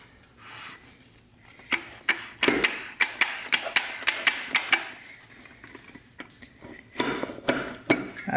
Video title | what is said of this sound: TH400 DIRECT DRUM REBUILD, 7 Clutch, 34 element sprag, dual feed. | down till we hear it metal-on-metal that sounds like metal on metal